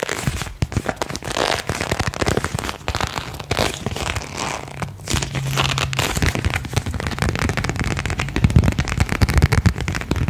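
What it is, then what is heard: Paper card being bent and snapped. A single thin printed paper card is held in both hands, bent and snapped taut with the fingertips. It makes a dense, continuous run of short crackling pops and crinkles with a heavy low thump under them. The sound stays fairly steady for about ten seconds and grows slightly louder toward the end.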